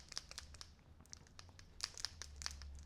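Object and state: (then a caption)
Paint pen with mixing ball rattling loose. A Tuli Art acrylic paint pen from the pastel set, number 19, unused for a while, is shaken until the ball bearing inside rattles to mix the paint. A rapid series of bright, sharp clicks and rattles sounds over a low steady hum. The rattle shows the ball is moving freely and the paint is being mixed.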